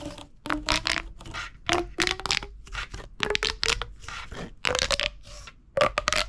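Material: Plastic.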